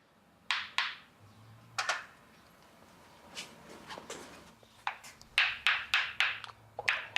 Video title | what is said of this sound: Le secret des saveurs du Japon | quand le produit est presque mature vous entendez clair métallique